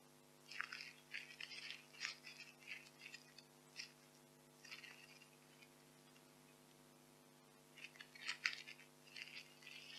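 White expanded polystyrene foam packing peanuts are squeezed in the hands, then held in open palms and picked up again. Bright, quiet squeaks and crunchy crackles come in clustered bursts, fall to near silence over a faint steady hum in the middle, then return toward the end.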